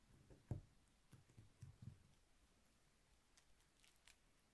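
Fingertips press and roll a small, thick rolled beeswax candle, made of solid layers of honeycomb-textured beeswax sheet with a cotton wick, against a paper-covered table. Six soft, low, sticky clicks and thuds stand out, the strongest near the start, each dying away almost at once. A faint bright hiss runs underneath.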